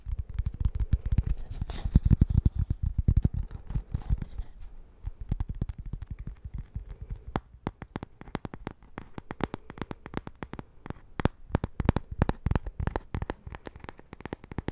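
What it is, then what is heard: Cork-backed coaster. Fingertips and nails tap rapidly on a small, flat cork-backed coaster with a printed face, which is turned between its sides. The taps come as quick, dry, muffled thuds, mostly low in tone, in an uneven stream of about four per second. Each tap dies away almost instantly, with denser, louder bursts near the start and again toward the end.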